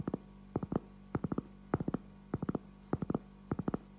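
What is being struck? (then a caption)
Cork object. A cork item is tapped in short clusters of two to four soft, dull thuds, repeating about every 0.6 seconds. Each tap dies away almost at once over a faint, steady low hum.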